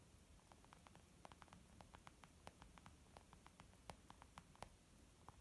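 A fingernail taps near the edge of a white textured leather zip makeup pouch, making about two dozen quick, dry clicks in an irregular rhythm. Each tap is short with almost no ring, centered around 800 Hz with a bright tick on top. A steady, quiet low hiss runs underneath throughout.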